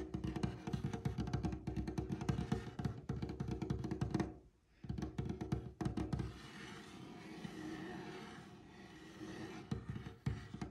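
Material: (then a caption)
Wood. Fingertips of one hand with short nails tap quickly on a large, solid, light-colored glossy varnished wooden tabletop, giving dull, low, short thuds that die away almost at once. The tapping breaks off briefly near the middle, returns in bursts, then gives way to a softer, steady brushing sound before a few final taps.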